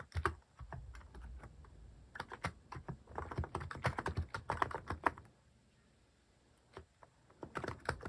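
Fingertips type on a Hanmumu mechanical keyboard fitted with cat-shaped plastic keycaps, producing quick, irregular clacks with a low, thocky body and almost no ring. The typing runs in dense bursts, falls quiet for about a second and a half, then resumes with a few final keystrokes.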